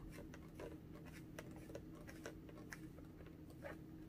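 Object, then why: Small inflated latex balloon. A small pink inflated latex balloon, hollow and air-filled, is held in both hands and tapped and scratched with long orange-painted nails. Quiet, soft taps and scratchy rubs patter irregularly over a low steady hum, each brief and dull with little brightness.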